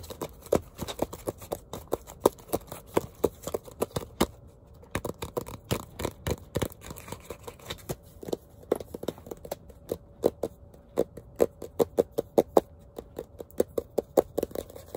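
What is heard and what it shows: A small spiral-bound sketchbook with a glossy printed cardboard cover over a solid stack of paper is tapped and scratched on the cover with fingertips and nails. Quick, dry taps and scratches come in rapid irregular bursts, each dying away almost at once, with a faint steady tone near 440 Hz underneath.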